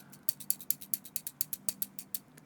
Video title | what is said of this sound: ASMR - Rambling about nothing in particular while tapping and scratching things | kind of shakes around a little little bit and I think it makes a very nice noise